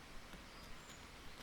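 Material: Nothing is struck.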